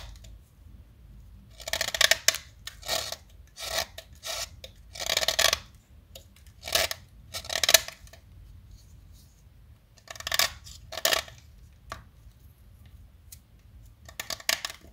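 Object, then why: Chalk stick shaved with a metal blade. A small solid pale yellow chalk stick held in the fingertips is shaved with a metal utility knife blade. The result is a series of short, dry, bright scraping and cutting strokes, separated by quiet pauses.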